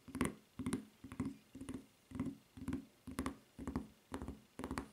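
Long red-painted nails tap and scratch the serrated footbed of a solid white rubber flip-flop with a red rubber strap, lying on a table. Ten short, dull tapping bursts, each with a quick scratchy edge, come in a loose, steady rhythm with little ring.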